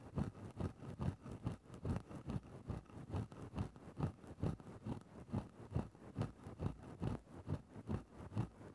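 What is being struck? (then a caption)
Synthetic-fur microphone windscreen scratched with a bamboo stick. A thin bamboo stick scratches into a grey synthetic-fur microphone windscreen in a steady back-and-forth rhythm. About nineteen soft, muffled scraping strokes come at roughly two per second. Each is a low, dull rustle with almost no bright content, and the strokes die away quickly.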